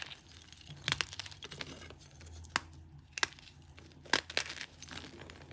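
Both hands grip solid green-tinted, green-dyed gym chalk blocks resting on a bed of grey chalk powder and crush and snap them with the thumbs and fingers. The result is a run of dry, bright crunching and crackling snaps with crumbly texture in between. A few sharper cracks stand out and die away instantly.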